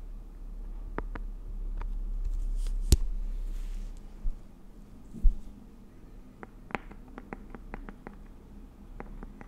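A round green Nature Republic aloe vera gel jar, medium-sized hollow plastic with a lid and apparently filled, is tapped and scratched with long nails on its lid and side. Sharp, dry clicks and taps sound over a low, steady rumble, with softer scratching in between. Two louder knocks stand out from the quieter patter.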